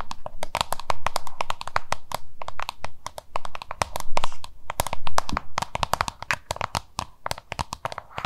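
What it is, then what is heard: Plastic lunch box tapped with nails. Long nails tap and scratch a small, hollow, oval yellow-green plastic lunch box held in both hands. Rapid, irregular, dry clicks with bright, sharp tips sound over the scratching, with no ring after each tap. A steady low hum runs underneath throughout.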